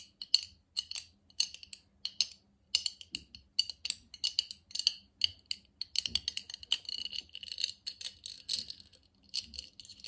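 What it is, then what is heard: Empty glass jar. A small, clear, empty, hollow glass jar is held in both hands while fingertips, nails and the metal rings worn on the fingers tap and clink against it. Quick, bright, glassy clicks and chinks come in uneven bursts, growing denser toward the middle and end of the clip. Each tap dies away almost at once.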